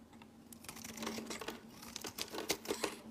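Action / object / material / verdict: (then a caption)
scrape / bar of soap shaved with a blade / soap / none. A solid light-green bar of soap with an embossed logo is held in the hand and shaved with a utility-knife blade, while other soaps sit still nearby. Quick, crisp scraping and crinkly shaving strokes come in an uneven series, with bright edges and a faint steady low hum underneath. The final strokes are louder and sharper.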